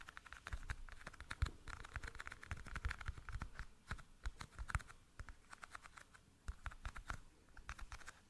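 A small, hollow, clear plastic toothpick case is tapped and scratched with fingernails in a quick, irregular run of sharp taps and light scratching. Each tap is a dry click with a soft low thump beneath it and almost no ring, and the case stays quiet and close throughout.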